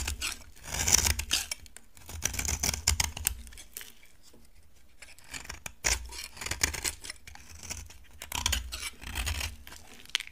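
A solid, dry orange bar of soap is shaved with a utility knife, sending off dry, crumbly chips. The blade makes bursts of crisp, bright scraping and crackling, with soft low thumps and quieter pauses between strokes.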